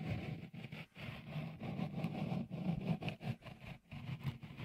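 Fingertips rub a small, hollow, white, dimpled textured silicone cover on the left microphone capsule of a Tascam recorder. The result is a dense, low, rumbling, scratchy friction centered in the bass. It comes in uneven bursts separated by brief quiet dips.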